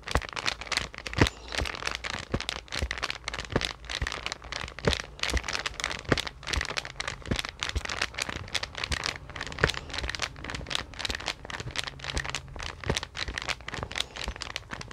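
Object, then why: Paper sketch pad with card cover. A large green card-covered sketch pad, a solid stack of paper sheets, is held up in both hands and flexed while long dark nails press and scratch on its cover. The result is a steady stream of bright crinkling and crackling with many sharp, quick clicks over a faint low hum.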